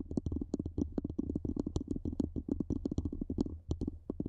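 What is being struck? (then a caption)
Metal microphone body. Long nails and fingertips tap and scratch a black cylindrical metal microphone body, moving higher up it as they go. A quick, steady stream of short, dull low-mid taps, with bright nail clicks on some, plays over a constant low hum. Each tap dies away almost at once, with no ring.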